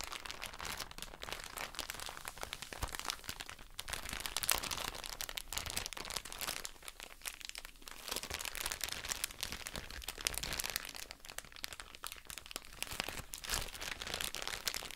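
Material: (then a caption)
Plastic. A soft plastic drawstring bag full of cotton wool pads is crinkled and scratched with long nails. A dense, bright crinkling and scratching runs steadily for the whole clip, made of rapid little crackles with almost no low end. It eases briefly near the middle before picking back up.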